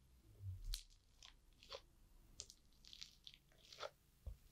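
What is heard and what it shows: A rounded green plastic tool presses into a flattened layer of multicolored foam-bead crunchy slime on a wooden board. The slime gives quiet, scattered bright crackles and pops, with a soft low thump near the start and another near the end.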